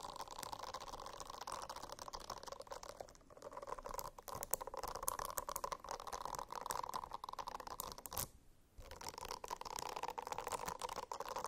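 A silicone-covered notebook is scratched with the nails in a steady, quiet stream of dry, crackly scratching. The sound carries a mid-range hiss with brief lulls near 3 and 8.5 seconds before the scratching resumes.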